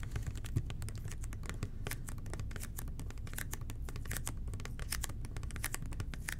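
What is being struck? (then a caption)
Plastic cleaning bottle. Fingertips tap on the side of a red and white plastic toilet cleaner bottle, which is then turned upside down and tapped on its base. The result is a steady stream of quick, soft, hollow plastic taps with short bright clicks over a low, constant rumble, all at a quiet, even level.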